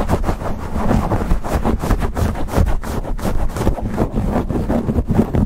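Fingers rapidly grip, rub and scratch a black foam windscreen on a silver USB microphone. The result is a dense, continuous, bass-heavy rumble of scratching and muffled thumps, pulsing unevenly with almost no high-end brightness.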